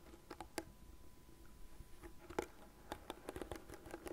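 Long nails tap and scratch the plastic frame and bristle side of a light blue plastic cat-shaped hairbrush held on a desk. About a dozen quiet, dry clicks land at irregular intervals, clustering toward the end. Each has a hollow tone near 360 Hz and dies almost instantly over a faint scratchy hiss.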